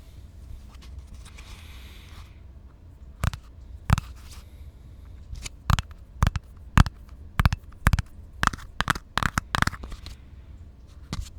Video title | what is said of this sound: ASMR Plastic Tapping Slow and Steady + Rambles | It's a plastic container, but I think it's more than just a plastic container,